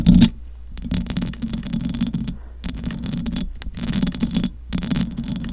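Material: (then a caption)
Metal mesh. Long acrylic nails on both hands scratch the metal mesh grille of a large silver condenser microphone. The result is a close, rasping scratching in several bursts, with a low hum underneath and bright crackle over a strong low-mid body.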